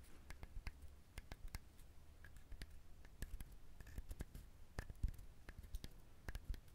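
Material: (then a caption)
Coconut shell. A coconut shell is handled, tapped and scratched up close, giving a quiet series of sharp, dry clicks and brief scratches that die away almost instantly over a low, steady rumble.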